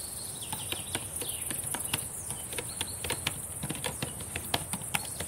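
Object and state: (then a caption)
Plastic laptop keyboard being typed on. Long painted nails and fingertips type on a black laptop keyboard with plastic keys, producing quiet, rapid, irregular clicky taps. A steady high-pitched hiss runs underneath throughout.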